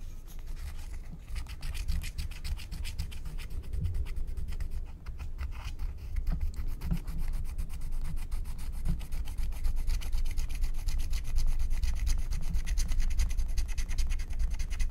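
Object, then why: Wax-coated paper scratch-art card scraped with a wooden stylus. A wooden stylus scrapes the coating of a flat, thin, black wax-coated paper scratch-art card in dense back-and-forth strokes. The result is a steady stream of dry, rapid scratching and rasping, with bright crackly texture over a low rumble, growing slightly louder toward the end.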